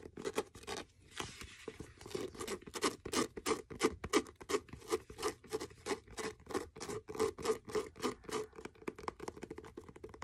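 Fingernails scratch the spine and page block of a blue faux leather hardcover notebook, turned to show its spine and page edges. Rapid, uneven scratching strokes come in short, dry bursts with a papery, bright hiss over a steady midrange tone near 440 Hz. There is almost no low end and no ring after each stroke.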